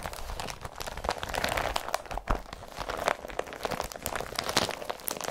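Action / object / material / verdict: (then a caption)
scrape / woven polypropylene carrier bag / polypropylene / none. An empty blue woven polypropylene IKEA BRATTBY carrier bag is pressed with a flat palm and scrunched by fingers. It gives a steady run of dense, crisp crinkling and crunching with bright, sharp crackles and a few soft low thuds. Each crackle stops almost at once.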